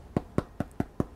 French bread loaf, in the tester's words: nice solid I mean finished loaf of bread